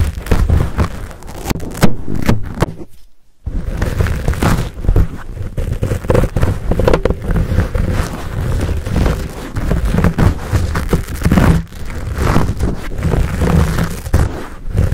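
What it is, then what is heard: Foam microphone windscreen. Short nails scratch and fingers squeeze a fuzzy black foam windscreen on a Blue Yeti microphone. The result is a dense, continuous stream of close, rumbling, crackling scrapes, heavy in the low end, with a brief near-silent pause around three seconds.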